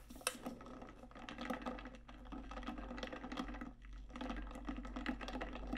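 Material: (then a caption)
Stainless steel. A large metallic pink stainless steel tumbler with a lid, hollow, is tapped and scratched on its outer wall with long nails. Quick, dense clicks and light scratching patter continuously over a low steady hum, with a sharp tap near the start and a brief lull just before four seconds.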